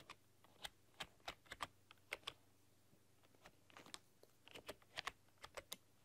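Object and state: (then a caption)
Plastic computer keyboard being typed on. Long dark-polished nails and fingertips type on a full-size plastic computer keyboard with black keycaps and a rainbow RGB backlight, pressing and clicking the keys. About nineteen short, bright clicks and taps arrive in an irregular rhythm over a faint steady low hum, each dying away almost instantly.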